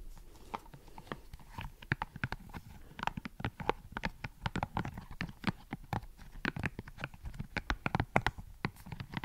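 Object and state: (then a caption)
Silicone scalp massager brush. Fingertips flick and pluck the soft spikes of a hand-sized green silicone scalp massager, with solid rubbery bristles on a hollow dome base, close to the microphone. The result is a rapid, irregular run of short, dry rubbery snaps and taps, each with a low thud and a bright click that die away almost instantly.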